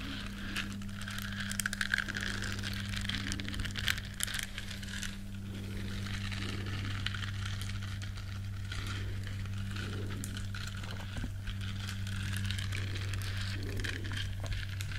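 Long nails scratch the bristles of a small, flat, solid yellow silicone scrubber shaped like a duck. A continuous crinkly, bright scratching texture rises and falls over a steady low hum lasting the whole clip.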